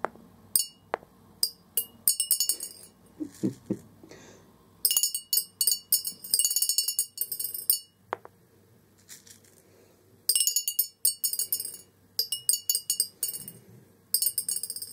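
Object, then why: Glass jar with plastic BB pellets. Orange plastic BB balls are dropped into a large, hollow clear glass jar resting on carpet, with more BBs gathered around its bottom edge. Bright, sharp clinks ring off the glass base in rapid clusters, separated by quieter stretches with faint low rustling. Each clink decays almost instantly.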